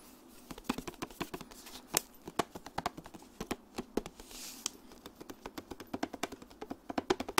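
Long nails tap quickly and unevenly across the clear plastic lid of a flat, rectangular makeup blush palette with pink and peach pans and a hollow case. The many dry, sharp clicks die away almost instantly, with a brief soft rustle partway through.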